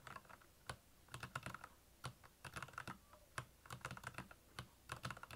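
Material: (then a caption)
Plastic. Fingertips type on the keycaps of a black, backlit Royal Kludge plastic mechanical keyboard. Quick bursts of clacky keystrokes with brief pauses combine a low, hollow thock with bright, crisp clicks, and each stroke dies away almost instantly.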